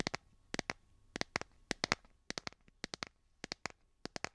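Fingernails tap and scratch the back of a solid, hand-sized smartphone in a light blue plastic or silicone case, near the camera cutout. About 21 short, dry clicks come in quick pairs and clusters, with a bright edge centered around 2 kHz and almost no ring. Faint background hiss lies between them.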